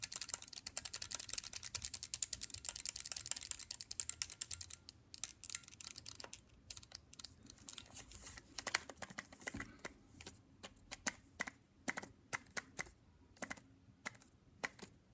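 Fingertips tap on the lid, edges and hinge of a closed black plastic Nintendo DSi, a small, hollow handheld console held in the hand. A fast, dense flurry of bright, clicky taps fills the first few seconds, then thins into slower, scattered taps with sharper individual clicks. Each tap is dry and dies away almost instantly, with very little low-end body.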